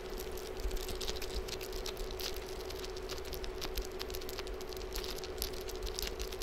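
Fingertips and palms press and tap a flexible, gel-filled blue cooling face mask resting on a mannequin head, making a quick, soft patter of squishy taps. A steady low hum and a low rumble sit underneath the tapping throughout.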